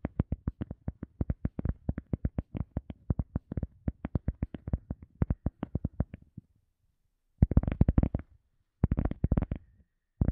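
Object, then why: EVA foam sponge. An EVA foam sponge is tapped in a fast, steady run of short, dull, low thuds with almost no ring, each damped straight away. After a brief pause, denser flurries of quicker taps follow, sounding slightly fuller and brighter before stopping.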